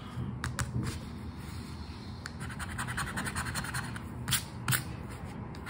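A coin-like token scrapes across a flat paper 20X scratch card, revealing the numbers. The result is a steady, rough, dry scratching with a low rumble underneath, broken by several sharper, brighter scrapes, two of them louder near the end.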